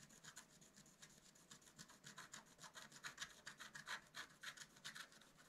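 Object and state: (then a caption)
Scratch art paper sheet. A wooden stylus scratches the coating of a flat black-coated scratch-art card in quick, short strokes, about three to four per second in an uneven rhythm. Each stroke gives a quiet, dry, bright scratching rasp with almost no low end and no ring after it.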